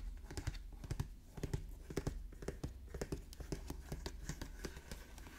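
Fingertips scratch and rub the lid and edges of a Pokémon Elite Trainer Box, a medium-sized hollow printed cardboard box, resting on a wooden table. A quick, uneven series of dry, short taps and scratchy strokes sounds with a dull, low-heavy thump and almost no ring, like light typing.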